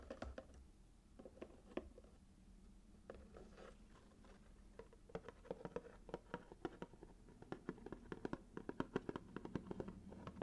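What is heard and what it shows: Fingernails scratch and tap the sides of a small, hollow cardboard gift box covered in red patterned paper, then move to its flat lid. Quiet scratching gives way to a dense run of short, dry taps with a hollow mid-low body and almost no ring.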